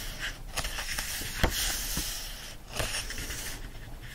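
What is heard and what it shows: Fingertips rub across the printed and illustrated paper pages of an open hardcover book lying flat, while the other hand holds the page edge. The result is a dry, bright, hissing rustle with soft low thumps, including one sharper bump partway through.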